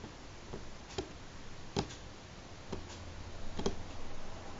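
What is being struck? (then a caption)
Wooden tabletop. Both hands tap natural fingernails slowly and sparsely on a solid, light pine-grain wooden tabletop. Five short, dry clicks sound over a low, quiet background. Each tap dies away almost instantly.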